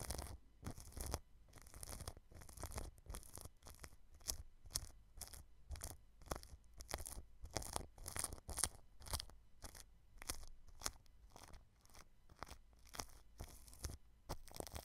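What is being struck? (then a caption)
Plastic cling film over a microphone. A paintbrush brushes clear plastic cling film wrapped over the right side of a white microphone's grille. It makes a steady run of quick, crinkly brushing strokes, each a short burst of bright, crackling rustle over a low, soft thump. The strokes come fast and close together throughout, with some louder swipes, and the sound is close and quiet.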